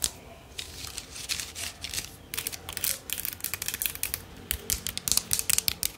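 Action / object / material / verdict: scrape / bundle of thin bamboo sticks / bamboo / none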